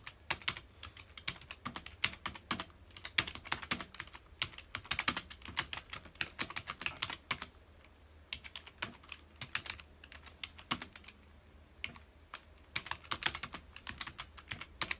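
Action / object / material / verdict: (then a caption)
tap / plastic computer keyboard / plastic / none. Fingertips of both hands type on a full-size black plastic computer keyboard with hollow key housings, resting on a dark desk. Quick, bright, clicky keystrokes come in rapid bursts with short pauses between them, each tap dying away almost instantly.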